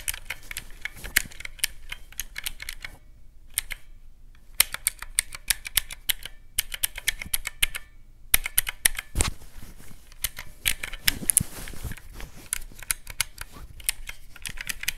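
Fingertips press the round black mechanical keycaps of a teal plastic calculator in fast bursts, about sixty sharp, bright clicks in all. The clicks stop dead with no ring, over a faint low background, and typing breaks off briefly around four and eight seconds.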